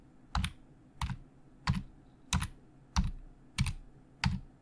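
Fingertips of both hands type on the hollow plastic keys of a black plastic Logitech full-size keyboard resting on a desk. Seven separate keystroke bursts land at a steady, unhurried pace, each a low, hollow thock with a bright clicky edge. Every stroke dies away quickly into a quiet background.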